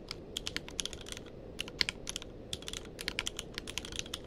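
Fingertips of both hands type continuously on a tenkeyless mechanical keyboard with plastic keycaps. The result is a steady run of short, bright, clacky keystrokes with almost no ring after each one. A faint, constant low noise sits underneath.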